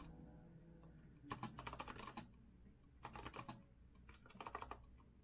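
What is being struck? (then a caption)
Metal-framed mechanical keyboard with round keycaps. Rapid fingertip typing with both hands on a compact retro Azio mechanical keyboard with a copper-colored metal case and round keycaps. Three quick bursts of crisp, bright key taps come at about 1.3, 3.0 and 4.2 seconds. Between them sits a steady low hum.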